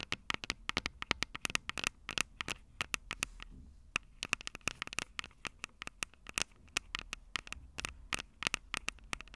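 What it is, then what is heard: Fingernails tapping on a handheld recorder's microphones. Long purple acrylic nails tap rapidly on the two metal-grilled microphone capsules of a Tascam DR-05 handheld recorder with a plastic body. The result is a dense run of sharp, bright clicks with almost no ring. A brief lull comes near the four-second mark.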